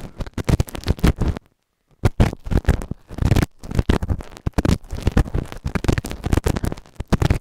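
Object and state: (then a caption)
Silicone ear microphone scraped. A white plastic spatula tool held in the fingers scrapes and scratches inside the ear canal of a grey, solid, moulded silicone ear-shaped binaural microphone on a round base, working the right ear only. Rapid bursts of deep, muffled, thumping scratches crowd together, pausing once into brief silence before resuming.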